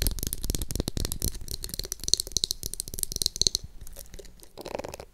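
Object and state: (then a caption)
Plastic hairbrush. A pink translucent plastic glitter hairbrush, held close to the mic, is scratched and tapped on its back and bristles with long acrylic nails. The result is a dense run of quick, dry clicks and scratchy rattles with bright, high-pitched ticks. The sound thins out toward the end.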